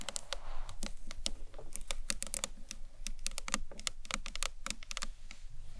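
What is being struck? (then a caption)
Acrylic box clutch. A rectangular, hollow green marbled acrylic box clutch stands upright and is tapped with long nails on its top edge and sides. Rapid, uneven clicky taps come in quick bursts, each sharp and bright with almost no ring, over a faint low background hum.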